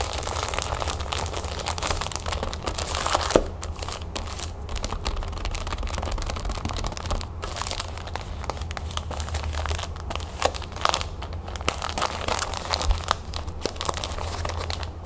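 A small rectangular pack of printed paper napkins in a clear plastic wrapper is squeezed, scratched and crinkled with long nails and fingertips. Dense, bright crackling and crinkling runs steadily throughout, with quick sharp snaps standing out, one loudest near the start, over a constant low hum.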